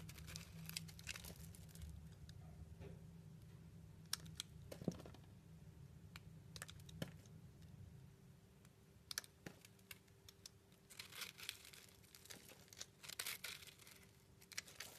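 A hand-sized, round, layered soap bar in blue, purple and pink is held in one hand while a small metal blade shaves thin curls off its solid surface, with the shavings piling up beside it. Quiet, dry crinkly scraping and crisp cutting clicks come in irregular bursts over a low steady hum, with bright crunchy flurries toward the end.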